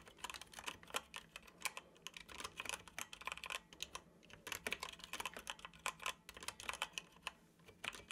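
Fingertips of both hands tap the keys of a dark plastic computer keyboard while typing. Rapid, bright, clicky key strikes come in quick runs with brief lulls, each tap short and dry with almost no low end.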